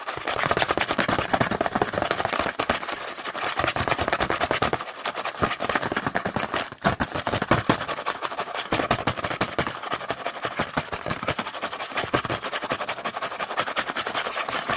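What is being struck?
Small cardboard snack box with bars inside.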